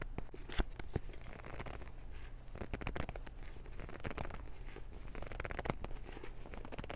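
A Transformers paperback book of solid paper with a glossy cover is gripped in both hands while fingers scratch across the cover and spine. The result is a quiet run of dry, crackly scratches and short rustling taps with no ring, over a steady low hum.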